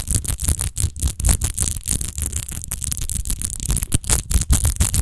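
Long nails quickly scratch the rose-textured base of a large, hollow, clear glass rose-shaped wine bottle that appears empty. The result is a fast, continuous run of short scratchy bursts with a bright, hissy edge over a dull, low hollow rumble, each stroke cutting off almost at once.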